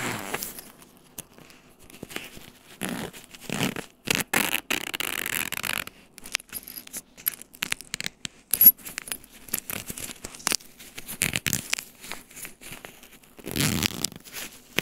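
Fingertips scratch and tap a blue paw-print padded fabric laptop sleeve with nylon straps lying on a tile floor, working over the fabric and its edges. Heard are dry, bright, scratchy rustles in irregular short bursts, with quick taps and brief quiet gaps between them. Each sound stops almost at once, with no ringing.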